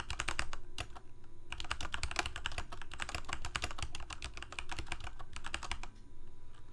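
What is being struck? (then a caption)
Plastic mechanical keyboard. Fingertips of both hands type continuously on a full-size black plastic Corsair K68 gaming keyboard with backlit keycaps, Cherry MX Red switches and a hollow plastic case. Rapid, bright clacking keystrokes run in a steady stream with brief pauses, over a low, hollow undertone.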